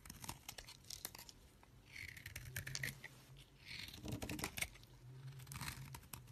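A knife scrapes and shaves the surface of a solid green bar of soap held in a hand with long nails, and the shavings pile up on the fingers. Quick, dry scraping strokes make bright, crisp rasps with a soft low rumble beneath.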